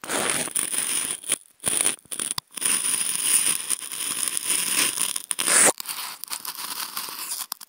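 Wooden toothpicks scratch across a hollow, octagonal white polystyrene foam food container, producing dense, bright, scraping and squeaky friction noise with a thin steady high tone running underneath. The scratching runs in long strokes broken by a few short pauses, ending with a brief louder squeal before quieter scratching trails off.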